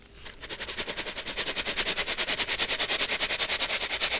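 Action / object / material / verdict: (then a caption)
shake / metal mesh sieve holding baking soda / metal mesh / none. A small gold metal mesh sieve holding baking soda chunks and powder is shaken or tapped rapidly over a clear plastic bowl, and is briefly lifted to one side. After a quiet start, a fast, fairly regular train of about 38 short, bright, gritty rattles builds in loudness and holds steady. The sound is almost entirely high, crisp hiss with very little low end.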